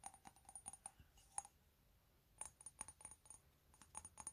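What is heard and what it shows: A small, hollow, empty white ceramic mug printed with "TEA" is turned in the hands and tapped with fingernails on its side and base. About twenty quiet, sharp clicking taps come in quick bursts, with a brief lull in the middle. Each tap has a faint bright ceramic ping that dies away almost instantly.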